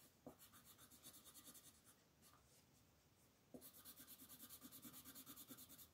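A red colored pencil shades the scarf area of a flat paper coloring book page in quick back-and-forth rubbing strokes, while the other hand steadies the page. Soft, dry, bright scratching pulses at a steady rhythm, fade to a brief quiet lull, then resume a little louder.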